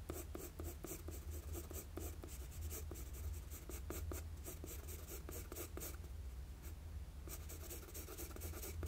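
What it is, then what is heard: Pencil sketching on drawing paper. A wooden graphite pencil makes sketching strokes on a flat sheet of drawing paper, giving soft, repeated scratchy strokes with bright, airy grain. The strokes pause briefly near the seven-second mark before resuming over a steady low hum.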